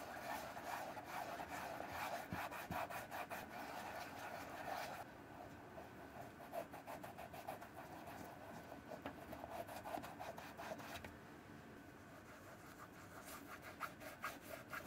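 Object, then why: Leather shoe. Fingertips rub along the leather upper near the sole of a hollow brown leather sandal-style shoe with a brass buckle and rubber sole, held in the hand. The result is a steady, dry, scratchy rubbing with a mid-range edge around 700 Hz, busier in the opening five seconds and again near the end, and softer in between.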